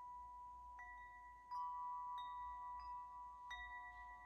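A hand-held wind chime with several long hollow metal tubes is gently shaken and struck by hand so the tubes hit the central clapper. Clear, sustained metallic tones ring around 1 kHz with bright overtones, and fresh strikes layer over the lingering ring as it slowly fades.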